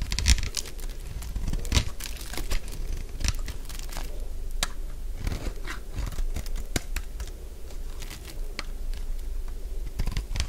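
A solid purple bar of dry soap is scraped with a metal blade into flakes. The result is a steady run of dry, crunchy scraping and crinkling with sharp, bright crackles, over a dull low rumble.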